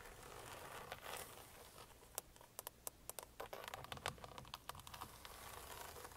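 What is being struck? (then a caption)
Hard plastic steering wheel airbag cover. Long painted fingernails of both hands tap and scratch the hard plastic airbag cover at the center of a car steering wheel. Quiet, brushy scratching gives way to a run of sharp, bright clicks that stop almost instantly. The taps come in uneven clusters over a soft, steady hiss.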